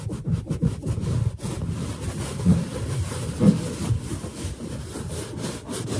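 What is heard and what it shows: A large, hollow, inflated white latex balloon is rubbed and squeaked by fingers and scratched with long nails. The result is a dense, low, rubbery friction sound with squeaky bursts and brief scratchy edges. Two stronger squeaks stand out near the middle.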